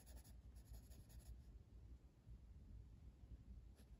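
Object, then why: Wooden colored pencil on a paper page. A blue wooden colored pencil, held by the fingertips, scratches and rubs across a flat paper coloring book page while shading. Quiet, soft scratchy strokes come in quick bright bursts during the first second and a half, then fade to a low, steady rubbing hum with one brief scratch near the end.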